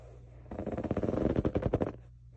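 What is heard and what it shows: Fingertips and short nails scratch quickly across a soft, stuffed grey pillow with a diamond waffle-weave fabric cover. The result is a rapid, rhythmic burst of dry, rustling scratches lasting about a second and a half over a faint low hum.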